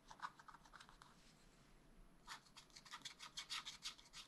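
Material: Waxed paper.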